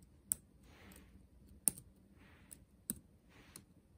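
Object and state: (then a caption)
Laptop keyboard with plastic keys. Fingertips tap and type on the black plastic keys of a backlit laptop keyboard set in a dark metal body. Seven sharp, bright clicks land at uneven intervals, with soft hissy swells between them. The taps are quiet and dry, with no ring after each one.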